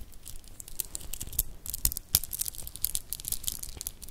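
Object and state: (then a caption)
Metal and shell bead bracelet. A stretchy child's dress-up bracelet of small solid metallic cube beads and dark shell chips is held in both hands over the mic and rolled and clacked with purple-painted fingertips and nails. It makes a dense run of quick, bright clicks and crinkly rattles with no ring. A few sharper clacks stand out above the steady low rustle.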